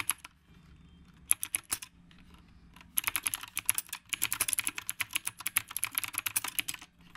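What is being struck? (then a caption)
Mechanical keyboard with round plastic keycaps. Fingertips type on the round plastic keycaps of a retro typewriter-style mechanical keyboard. A few brief clusters of sharp, bright clicks are separated by pauses, then a fast, steady run of clacking keystrokes follows. Each click is crisp and dry and dies away almost instantly.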